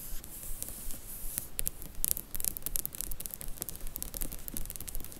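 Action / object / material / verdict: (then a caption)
scrape / paperback book spines in a cardboard slipcase / paper, cardboard / none. Long nails and fingertips tap and scratch along a row of Harry Potter paperback book spines held in a cardboard slipcase box set. Light, crisp scratching and soft taps come in a fairly steady rhythm, with a dry, bright, papery texture and no ring.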